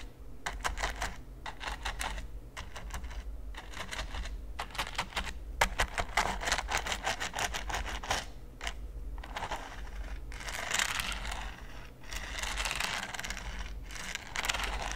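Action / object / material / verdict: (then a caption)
scrape / silicone pyramid-studded baking mat brushed with a silicone brush / silicone / none. A large, flat red silicone baking mat studded with pyramids is brushed quickly with a green silicone brush. The strokes make rapid, clicky scratching in dense bursts with brief pauses, bright and crisp over a steady low hum.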